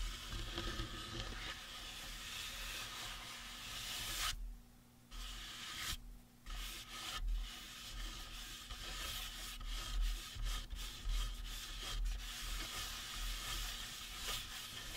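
Palms and fingertips rub and scratch the sides of the cranium of a life-size, hollow, painted resin or plastic Halloween prop skull. The result is a steady, airy, broadband rubbing and scratching texture over a low hum, with short quiet gaps near 4.5 and 6 seconds before the scratching resumes in bursts.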